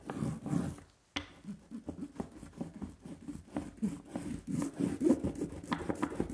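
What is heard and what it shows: A small red rubber brayer, held in the fingers, is rolled back and forth across a flat, solid linoleum printing block with a carved leaf pattern and a sticky layer of black ink. It makes a quiet, tacky, crackling rub in quick, uneven strokes, with a brief silent pause near the start. The sound is mostly low and muffled, with little high-end brightness.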